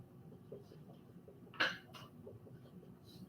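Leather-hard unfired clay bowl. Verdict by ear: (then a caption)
Thick. A leather-hard, unfired clay bowl on a potter's wheel is tapped during trimming to judge its wall thickness. The two short, dull knocks barely ring, and the bowl's walls are still very thick and need much more trimming.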